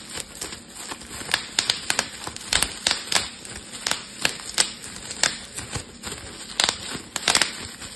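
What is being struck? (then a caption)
Plastic bubble wrap sheet. A clear plastic bubble wrap sheet is twisted and squeezed with fingertips, popping its bubbles. Sharp, bright pops and crackles come in an irregular string over a soft rustling bed, each snap dying away almost instantly.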